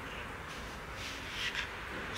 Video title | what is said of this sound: Das Messer der Spezialeinheiten I Waffentechnik Borkott & Eickhorn I Wild aufbrechen #untermesserung | Es klappert nicht beim Rein- und Rausmachen durch diesen Samtbelag.